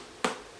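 A single tap on an unripe luffa gourd that is still full of goo inside. It gives a short, dull knock that dies away within about a tenth of a second. It lacks the hollow ring of a dried luffa.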